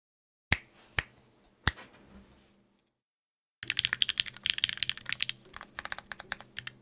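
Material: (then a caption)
Plastic. A Sangeo 60, a 60% mechanical keyboard in a white case with blue and grey GMK ABS plastic keycaps, an aluminium plate and Durock POM switches, is tapped by fingertips. Three separate sharp, bright clacks sound with short fading tails, followed by a pause of silence. A rapid run of crisp, high typing clicks then fills the rest of the clip.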